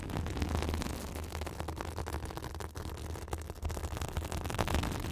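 A white fibrous synthetic bath sponge pressed against the top of a microphone is scratched with long acrylic nails. The result is a continuous, dense crackling and rustling with a heavy low-frequency rumble and fine scratchy texture riding on top.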